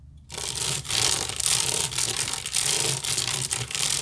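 A large, hollow woven wicker basket is scratched with long nails near the rim and on the side. After a brief quiet start, a fast, continuous, bright scratching rasp sets in, pulsing in quick strokes with small dips between them.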